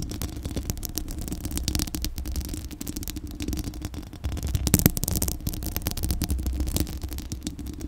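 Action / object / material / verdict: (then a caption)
scrape / metal mesh microphone grille / metal mesh / none. Long acrylic nails from both hands scratch the hollow metal mesh grille of a Blue Yeti microphone. The result is a dense, continuous low rumbling scrape full of rapid scratchy ticks and bright crackles, with a louder burst about two-thirds of the way through.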